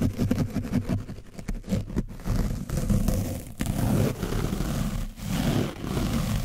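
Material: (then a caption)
Foam. A foam brush scrapes over an orange foam microphone windscreen coated with dried paint. The result is a dense, muffled scratching and rustling that is heavy in the low end, with little high content. It continues steadily in uneven strokes, dipping briefly between passes.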